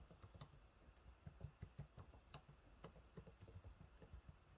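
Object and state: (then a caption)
Plastic laptop keyboard being typed on. Fingertips type on the low-profile plastic keys of a silver laptop keyboard, making a quick, uneven run of repeated taps. Each tap is short and dull, with most of its weight in the low range and only a faint bright click on top, at a quiet level.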